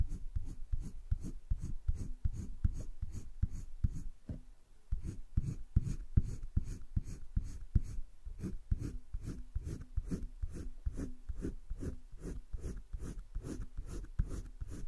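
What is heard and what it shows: A green colored pencil tip is rubbed along the edge of a drawing on a thick-paper page of a spiral sketchbook. It makes steady, quick, low scratchy strokes, broken by a brief pause near the middle.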